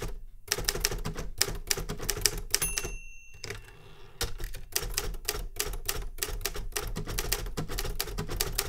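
A metal manual Remington Super Riter typewriter with paper loaded is typed on with fingertip taps, producing rapid, sharp clacks with a low thud beneath each strike. Around the third second the typing pauses for a brief steady ringing tone and a softer, quieter stretch, then the fast clacking resumes to the end.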